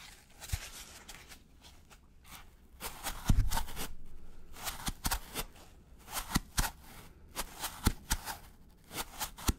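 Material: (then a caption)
Polystyrene foam. A gloved fingertip scratches the flat side of a white polystyrene foam packaging block. It makes a series of short, dry, bright scratching bursts with squeaky foam friction and soft low thumps. A steady rustle runs between the strokes.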